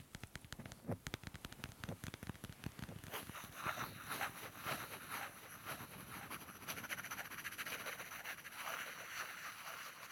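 Two small solid light-wood blocks, held in both hands, are knocked and rubbed against each other with the fingers. Quick, short wooden taps in an uneven patter come first, then they blur into a denser, continuous scratchy rubbing with bright, hissy texture through the rest of the clip.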